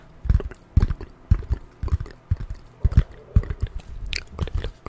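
A folded piece of corrugated cardboard is held close up and scratched and tapped with long nails. A quick, irregular series of dull, short, low thumps is heard, with faint papery scratching between them.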